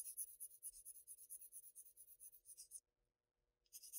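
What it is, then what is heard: Pencil shading on Bristol paper. A sharpened wooden graphite pencil scratches short shading strokes across a flat sheet of Bristol paper, close up. The quiet, bright, high rasping comes in about twenty quick strokes, pauses for nearly a second, then starts again.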